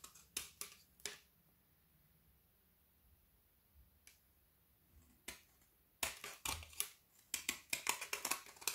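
A small dark-bladed kitchen knife shaves and scrapes the edge of a long, narrow, solid strip of frozen white chocolate studded with colored sugar-coated dragees, held in one hand over a wooden board as shavings fall onto it. A few sharp, bright, crisp scrapes come first, then a near-silent pause before a dense run of quick, crackling scrapes builds to the end.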